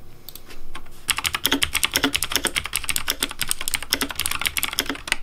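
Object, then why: Plastic mechanical keyboard. Fingertips type quickly on a pink Razer Deathadder V3 plastic mechanical keyboard with backlit, hollow plastic keycaps. A few faint clicks give way, after about a second, to a rapid run of sharp, bright clacks with a soft low thud beneath. Each keystroke dies away almost at once.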